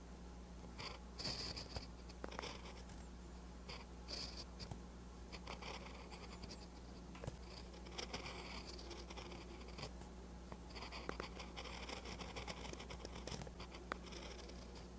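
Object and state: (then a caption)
Pen writing on a paper notebook page. A silver-and-green ballpoint-style pen held in the fingers writes Korean letters in green ink on a lined page of a paper notebook lying flat. The tip makes continuous quiet scratching strokes on the paper, with short bright taps and pauses between strokes over a steady low hum.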